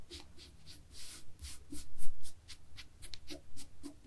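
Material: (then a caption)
Knit fabric. Long fingernails of both hands scratch across a black and white textured knit fabric laid flat. A quick series of short, bright, rasping strokes sounds over a faint low rumble, each scratch fading almost at once.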